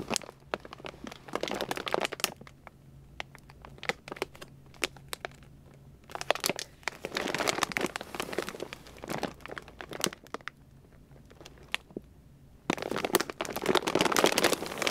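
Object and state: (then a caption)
Plastic dog food bag crinkling. A hand grips and squeezes a large white Purina Beneful dog food bag of glossy plastic, full of kibble, as it sits on a shelf. Dense, bright crinkling comes in three bursts, at the start, the middle and the end, with sparser crackles between them. A faint low hum runs steadily underneath.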